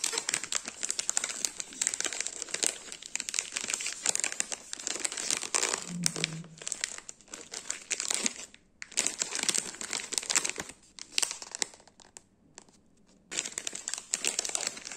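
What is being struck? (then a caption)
Small plastic film biscuit wrapper. An orange TumTum plastic film biscuit wrapper, small and filled with biscuits, is held in the hand and squeezed and crinkled by the fingers. Dense, bright crackling and crinkling runs through most of the clip, with brief quiet gaps near the end before the crinkling resumes.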